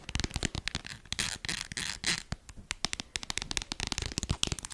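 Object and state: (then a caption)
Plastic lotion tube. A small red squeezable plastic hand-cream tube, held close to a fluffy microphone, is tapped and scratched with long acrylic nails. Rapid, sharp, bright clicks and taps come in quick succession, broken by a few longer scratchy, crackling bursts, with very little ring after each hit.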